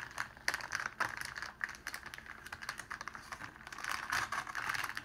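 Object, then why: Clear cellophane sheet. Fingers pull a crumpled sheet of clear cellophane open and spread it out flat on a table. The result is a dense run of crisp, rapid crinkling and crackling snaps, centered in the upper midrange with bright highs and almost no low end. The crackling swells louder toward the end.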